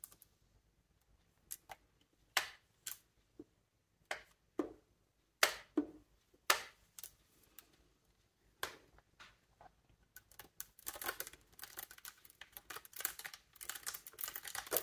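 Fingertips and nails press and tap the silver keys on a wooden bassoon body, a large hollow instrument. Sparse, sharp, bright clicks with almost no ring come first, then a rapid, dense patter of tapping fills the last few seconds.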